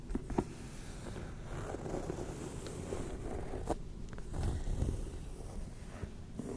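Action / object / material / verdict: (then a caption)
tap / leather handbag / leather / none. Long red-painted nails tap and scratch the pebbled-leather front of a small black Demellier Vancouver handbag with a gold metal clasp, held up close to the microphone. The sound is a steady, muffled, low-heavy scratching and rubbing, broken by a few short, sharper taps that die away almost at once.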